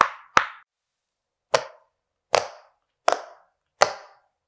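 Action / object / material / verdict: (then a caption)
tap / silicone pop-it fidget toy / silicone / none. Fingertips of one hand press the hollow bubbles of a flat, hand-sized yellow silicone pop-it fidget toy shaped like an owl. Six short, dry pops land at uneven intervals over a few seconds, each a sharp snap centered in the midrange with a bright edge that dies away almost immediately.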